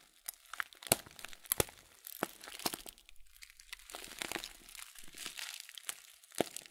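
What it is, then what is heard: Plastic cereal bag of oat flakes. A full 500 g blue Kölln oat flakes plastic cereal bag, turned sideways, is crinkled and squeezed with the fingertips. Soft, dense crinkling and crunching fills the clip, broken by sharp, bright crackles and a few louder snaps. The sound is dry, with no ring after each crackle.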